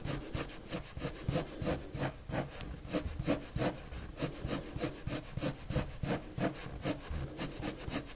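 A white and purple colored pencil is rubbed and scratched in quick back-and-forth strokes across a large, flat sheet of white drawing paper lying on a table. Each stroke gives a dry, raspy scrape with bright, hissy bursts and a soft low rumble underneath, repeating at a brisk but uneven pace.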